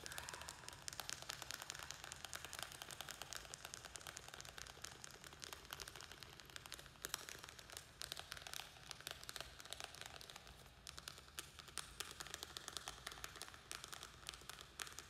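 Fingernails rapidly tap and scratch the thin walls of a small square black plastic nursery pot, held in hand and filled with soil and a string-of-pearls plant. The result is a quiet, continuous stream of crisp, bright clicks and scratchy crinkling with very short decay.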